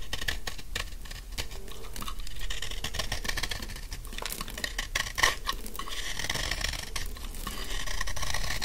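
A large, solid, dry pink soap bar held in the hand is cut into chunky flakes with a utility knife blade. Quick, uneven crisp scraping and crunching strokes run throughout, with bright flaky crackle over a low, steady rumble. One louder snap stands out near the five-second mark.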